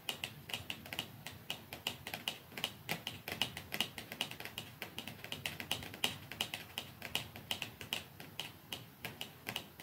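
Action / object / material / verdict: tap / small cardboard box / cardboard / none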